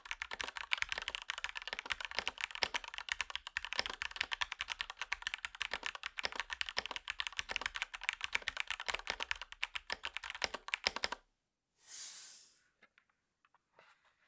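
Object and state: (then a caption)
Plastic mechanical keyboard being typed on. Both hands type rapidly with their fingertips on a REXUS DAXA M64 Ultimate wireless gaming mechanical keyboard, a compact 60% board with white, grey and red PBT plastic keycaps. About 11 seconds of dense, bright, clacky keystrokes with very short decay follow. The typing stops, a brief soft hissing rustle is heard as the keyboard is lifted and held by its sides, and a few faint light knocks close the clip.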